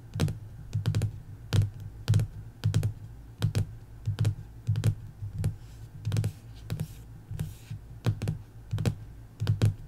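Long acrylic nails and fingertips tap and scratch across the cover of a closed hardcover sticker book, its laminated paper over solid board, lying flat on a wooden table. Irregular dull, low-pitched thuds with short sharp clicks at their onsets repeat throughout, with faint scratchy rustles in between.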